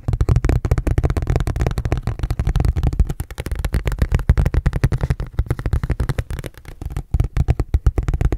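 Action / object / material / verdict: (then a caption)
tap / thin ridged plastic container lid / plastic / none. Fingertips tap and scratch a thin, red, ridged plastic food container lid as it is moved around. The result is a fast, steady stream of dull, low, hollow taps with a rough scratching texture, each tap dying away almost instantly.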